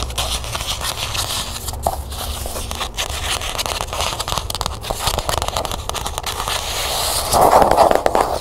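Long nails tap and scratch along the ridged, gold-printed spine of a small closed cloth-bound hardcover book held in the hand. The result is a steady stream of fast, dry clicks and crackly scratches with bright hiss. Near the end the scratching grows louder and denser.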